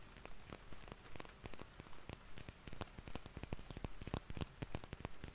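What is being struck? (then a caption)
Plastic cosmetic bottle. A red, palm-length cylindrical plastic cosmetic bottle with a white cap is held in both hands and tapped rapidly with fingertips and nails. The dense, irregular taps blend into a soft, rain-like patter with short, dry clicks that reach bright highs over a low, quiet base.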